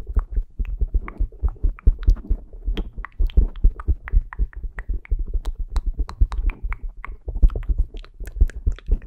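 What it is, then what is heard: Foam microphone windscreen. Fingertips and short painted nails of both hands scratch and rub the soft, porous black foam windscreen on a Zoom recorder microphone. The result is a dense, rapid stream of muffled, deep thumps and rustles, with brief bright crackles scattered through.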